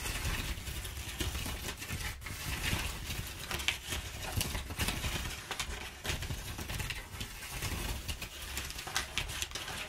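Fingers scratch and scrunch inside the folds of crumpled, perforated brown kraft paper packing padding. The result is a steady, dense crackle and rustle with bright papery texture and a low, soft rumble underneath, in irregular bursts that never fully stop.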